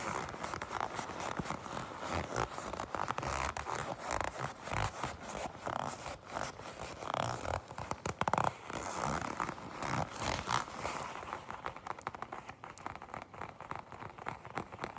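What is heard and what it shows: A black leather jacket lying flat is gripped and tapped or scratched with long pink nails. The result is a steady run of quick, dry scratching, creaking and light tapping sounds with a midrange focus. There is no ringing after each touch.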